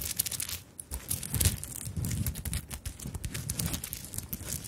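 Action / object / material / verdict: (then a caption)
scrape / fabric handbag covered in beads and sequins / beads and sequins / none. Long nails scratch and tap across a small fabric handbag covered in beads and sequins. The result is a dense, crinkly rustle of bright clicks and scrapes over a soft low rumble, with short, quick taps throughout.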